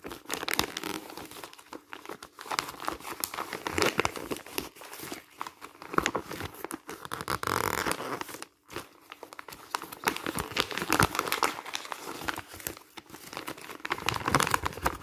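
A thin printed paper booklet with a green cover and crumpled printed pages is squeezed and rubbed by fingertips on hands wearing rings while its pages are bent and crinkled. The result is a dense, steady stream of dry, bright crackling and rustling with almost no low end, a longer smooth rustle near the middle, and a brief silence just after it.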